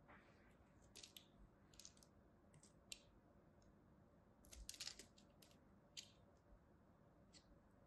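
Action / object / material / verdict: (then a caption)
scrape / bar of soap scraped by a small metal blade / soap / none. A small metal blade scrapes and cuts the flat face of a solid purple and white striped soap bar in sparse strokes. Quiet, bright, crisp scraping bursts come in short clusters over a low steady background hiss, with a denser run of cuts just before the five-second mark.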